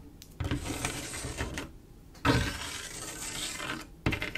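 Long acrylic nail tips tap and scratch a large, solid, flat panel of silver mirror-like glass mosaic tiles. Sharp clicking taps start a few sustained bursts of bright, gritty scraping over a faint low thump, with quieter pauses between them.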